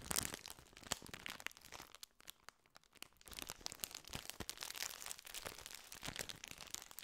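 A full plastic biscuit wrapper is crinkled and squeezed by hand close to the microphone. Dense, bright crackling and crunching come in bursts, with a brief near-silent pause around two to three seconds before the crinkling resumes.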